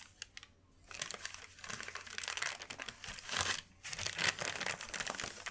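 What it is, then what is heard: Sheet of wrapping paper. A large, thin white sheet of wrapping paper is lifted, folded and handled with the hands. After a quiet start, a dense, bright crinkling begins just before the first second. It pauses briefly near 3.7 seconds, then returns with sharp crackles to the end.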